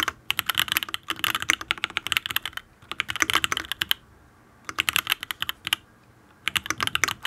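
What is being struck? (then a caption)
Mechanical keyboard, aluminium case, ABS keycaps. Both hands type rapidly on a full-size custom Matrix Abel mechanical keyboard with an aluminium case, ABS keycaps, and lubed Tealios V2 linear switches with no foam. Quick bursts of crisp, bright, clacky keystrokes come in flurries separated by short pauses. The sound has almost no low end and no ringing after each press.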